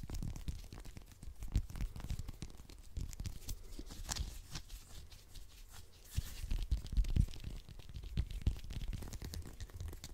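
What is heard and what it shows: Fingernails quickly scratch and pick at the peel of a whole small orange, a solid fruit held in both hands. The result is a dense run of crackly, tearing scratches over dull low thumps, with a louder burst of picking near the end.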